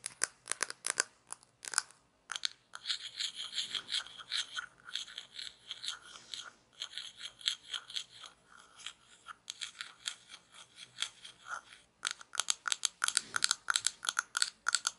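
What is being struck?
Small hollow plastic toy shaker bottle.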